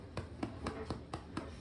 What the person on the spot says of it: not sure if you can hear it but it sounds hollow and when it sounds hollow on the bottom your soda bread is ready